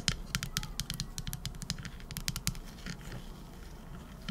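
The back of a teal epoxy resin shell-shaped trinket dish, filled with gold glitter and embedded shells, is tapped with long acrylic nails. A quick, uneven series of sharp, bright clicking taps rings out, each with a soft low thud beneath it and almost no ring. The taps thin out toward the end, with one last tap just before it stops.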